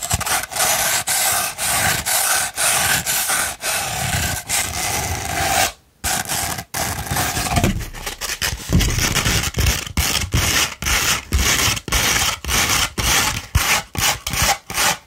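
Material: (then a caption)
Sandpaper. Long red nails scratch along the gritty surface of a sheet of sandpaper rolled into a hollow tube. The result is a steady run of bright, rasping strokes separated by short gaps, with a brief pause near the middle before the scratching resumes.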